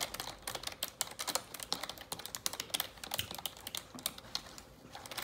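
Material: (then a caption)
Plastic. Long neon-yellow acrylic nails type rapidly on a black full-size plastic computer keyboard resting on a desk. The result is a fast, uneven stream of short, dry, bright plastic taps and clicks with almost no low end and no ring after each hit.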